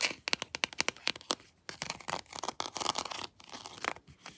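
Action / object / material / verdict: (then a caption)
tap / hard plastic action figure / hard plastic / none. Long nails tap and scratch the textured chest armor of a hard plastic Predator action figure lying down. A quick run of sharp, clicky taps gives way to dense, bright scratching and crinkly rasping, with almost no low end and no ring after each hit.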